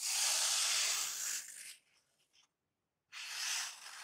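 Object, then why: Open-cell packing foam sheet. A thin black open-cell packing foam sheet is rubbed and squeezed with fingertips and nails, giving a bright, hissing scratch with no low end. The rubbing runs steadily for about a second and a half, trails off into faint rustles and a short silence, then starts again just as loud to the end.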